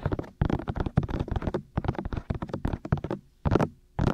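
Fingertips with short nails tap and cup both white, hollow, ear-shaped silicone ears of a black 3Dio binaural microphone mounted on a tripod. Rapid, muffled, bass-heavy thumps come in quick clustered runs, broken by brief pauses that set and break the rhythm. A low, steady hum sits under the taps.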